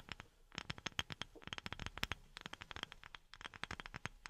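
A wooden object is tapped rapidly with silicone rubber pads worn on the fingertips. About thirty short, dry, bright taps follow one another in quick, uneven bursts, each dying away almost at once.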